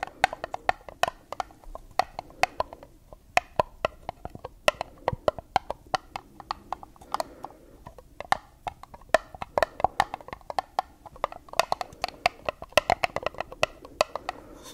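Long nails tap quickly on the walls of a small, hollow, empty white dotted paper cup held upside down. Dozens of sharp, dry clicks land in uneven bursts, each with a hollow mid-pitched tone around 650 Hz that dies away almost at once. Between taps there is only faint low hiss.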